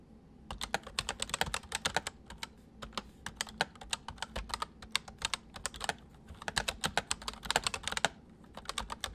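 Both hands type quickly on a full-size white plastic mechanical keyboard with white keycaps resting on a wooden desk, fingertips pressing and tapping the keys. Dense bursts of sharp, bright clacks snap off almost instantly, with brief pauses between runs over a faint low hum.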